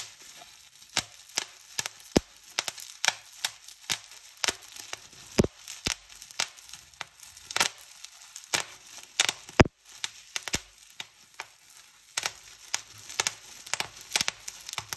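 Clear plastic bubble wrap is pinched between thumbs and fingers, popping bubble after bubble at an uneven pace. Each pop is a sharp, bright snap that dies away almost instantly, with soft crinkling and rustling of the plastic in between.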